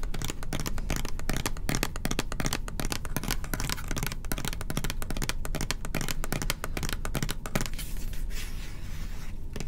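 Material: Plastic.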